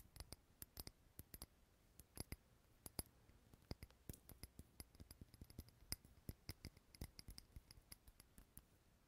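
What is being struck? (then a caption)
Small glass jar filled with wax. A small clear glass candle jar filled with solid green wax, unlit, is held in the hand close to the recorder and tapped with fingertips and nails. The result is a quiet series of sharp, dry clicks and light taps with bright tops, some landing in quick clusters and others spaced apart, with almost no ring.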